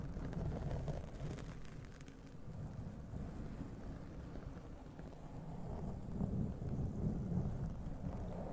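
Long nails scratch and rub the black foam windscreen on a large condenser USB microphone, with one hand raised away from the mic at the start. The result is a steady, dense, low, muffled rumbling scrape with little brightness, swelling slightly louder toward the end.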